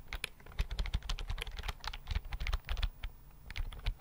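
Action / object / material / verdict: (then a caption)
tap / plastic computer keyboard / plastic / none. Fingertips quickly tap the keys of a slim white plastic computer keyboard held in both hands. The result is a fast, irregular run of short, dry clicks with a thudding low body and bright upper ticks.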